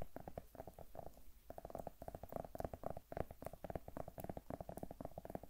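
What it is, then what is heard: Zucchini tapped with fingernails. A whole, solid green zucchini held in the hand close to the microphone is tapped and scratched with long manicured nails. The result is a quiet, rapid run of soft, dull taps and brushing scratches with a muffled, low-mid tone. Each tap dies away almost at once.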